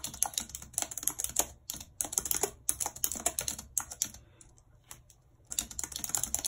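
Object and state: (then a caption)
Plastic computer keyboard being typed on. Long red nails tap the keys of a white plastic computer keyboard in continuous typing, giving bright, crisp clicks and clacks that come in quick bursts. The typing thins out and pauses near the end, then resumes in a dense run of sharp taps.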